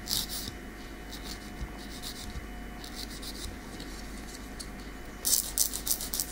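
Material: Keratin.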